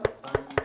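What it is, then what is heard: Anatomical skull model. Three quick knocks land on the back, or occipital section, of a medically accurate physical skull model used as a drawing reference. Each is a short, dry tap with a mid-pitched tone around 430 Hz that dies away almost at once.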